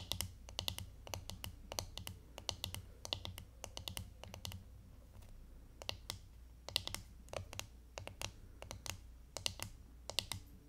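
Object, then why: Plastic hairbrush back. Long fingernails tap and scratch the hollow, striped, glittery plastic back of a hairbrush held up in both hands. Quick, dry, bright clicks come in uneven bursts, with soft scratchy rustling between them over a faint low hum. Each tap dies away almost at once.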